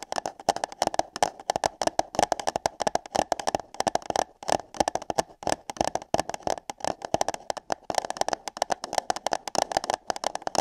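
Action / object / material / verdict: tap / paper cup / paper / none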